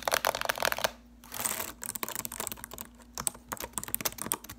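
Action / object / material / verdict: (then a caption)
tap / plastic laptop keyboard / plastic / none. Long acrylic nails type rapidly on the plastic keys of a silver laptop keyboard, with the hands staying on the keys. The result is a fast stream of sharp, bright clicks and taps, with a brief pause about a second in before the typing resumes in bursts.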